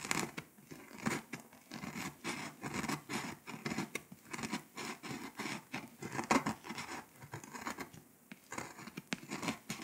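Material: Foil paper.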